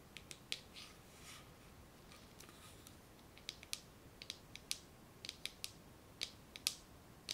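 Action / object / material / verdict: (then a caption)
scrape / plastic bead garland wound on a spool / plastic / none. Long nails and fingertips scratch and rub over a spool tightly wound with a garland of small shiny gold plastic beads on a string, held in both hands close up. Quiet, sparse, bright clicks and ticks with very short decay stand out against soft, hissy rubbing between them.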